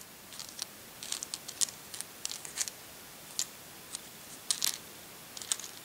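A small handful of large, hard, solid dried speckled beans rests in an open palm while the fingertips of the other hand stir them so they click together. The result is a string of short, bright clicks and light rattles in irregular bursts, with almost no low end and no ring after each tap.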